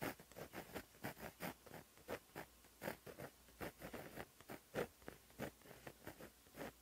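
A fingertip-held white gel pen with a plastic body and a 0.8 mm tip writes Korean cursive on a flat black lined notebook page resting on a surface. Its tip scratches lightly across the paper in a quiet, steady series of short, papery strokes with a bright, hissy edge. Each stroke dies away almost at once between pauses.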